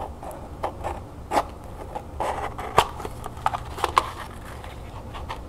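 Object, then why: Small cardboard gift box with textured paper. Long nails scratch and tap the edges and lid of a small, hollow copper-colored cardboard gift box covered in textured copper paper and tied with ribbon. Soft, papery scratching runs throughout, broken by short, dry taps with a hollow tone around 950 Hz and a little brightness on top. The taps die away almost instantly.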